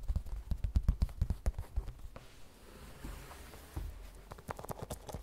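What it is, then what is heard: Printed vinyl cosmetic pouch. A small, glossy printed vinyl or coated-fabric cosmetic pouch, hollow and soft, rests on a table and is tapped with long red fingernails. The taps are quick, irregular, dull and low, with a quieter pause in the middle before a final flurry.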